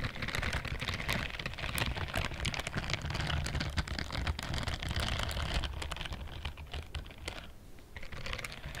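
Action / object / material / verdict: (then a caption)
scrape / silicone scrubbing glove with bristle pads / silicone / none. Long nails scratch quickly across the bristled palm of a pink-white silicone dishwashing glove with bristle pads, held upright. The result is a dense, uneven stream of dry, crackly ticks and scrapes with a bright hiss over a steady low rumble.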